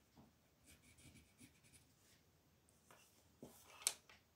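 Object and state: Colored pencil shading on a paper page.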